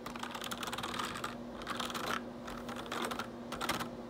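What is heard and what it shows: Fingertips type rapidly on the keys of a black plastic RGB backlit computer keyboard, with some rubbing across the keys. Quick, bright plastic clicks come in three bursts separated by brief pauses, over a faint steady hum near 250 Hz.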